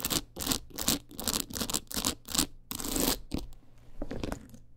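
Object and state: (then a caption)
Rhinestone-covered clutch wallet. Long nails scratch rapidly back and forth over the stones of a teal rhinestone-covered clutch wallet. The result is a run of quick, bright, gritty rasping strokes, followed by a few softer scratches and light clicks as the motion slows near the end.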